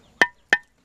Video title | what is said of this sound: Mission de Compagnonnage Artisanal GABON | on peut entendre une brique qui est bien dosée, hein, de bonne qualité